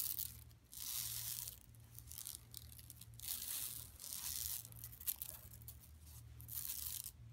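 Long pink nails scratch across the surface of a large, flat, yellow-striped woven plastic mesh tote bag with a Buffalo Exchange print, lying empty on carpet. Bright, raspy scraping strokes come in uneven bursts, like tearing, over a steady low hum.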